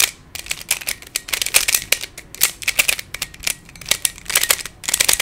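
Fingertips twist the layers of a hand-sized black plastic Pyraminx, a pyramid twisty puzzle with coloured stickers and a hollow mechanism. The result is a quick run of bright, dry plastic clicks and shuffling rattles with almost no low end, coming in uneven bursts separated by short pauses.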